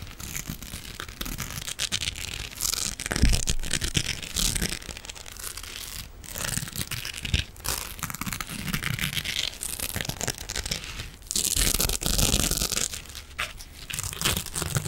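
A soft, hand-sized silver metallic mesh scrubbing sponge is scratched with fingernails. Dense, bright scratching and crinkling comes in uneven bursts of varying intensity, over a low, rumbling undertone.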